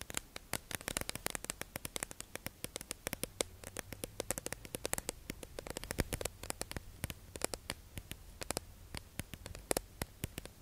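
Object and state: Clear plastic sponge package.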